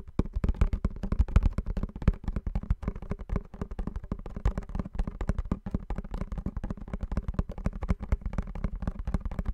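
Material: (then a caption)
Cardboard. A small blue printed cardboard perfume box is held in both hands close in front of the microphone while fingernails tap on it rapidly and continuously. The taps land as a dense stream of short, dull, low thuds with almost no ringing and hardly any high sound.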